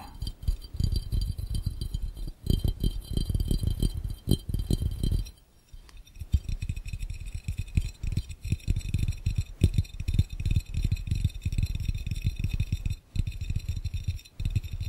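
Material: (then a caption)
Glass. Fingertips tap rapidly with several fingers on the bottom of an empty glass fishbowl held over the listener. The result is a dense stream of dull, low thuds with very little ring, broken by brief pauses around six seconds and thirteen seconds.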